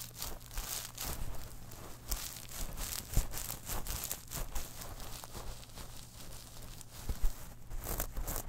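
Long nails scratch and tap across a small, flat, hollow clutch wallet covered in silver, gold and black metal mesh platelets. The result is a busy, bright crinkling scratch broken by sharp little clicks, over a steady low hum.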